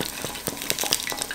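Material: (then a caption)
Fried batter. A battered squash blossom frying in hot oil is tapped to check whether the batter has hardened. Quick, light, crisp taps cut sharply through a steady bright sizzle of frying. The batter is hard and crisp, which shows the blossom is perfectly done.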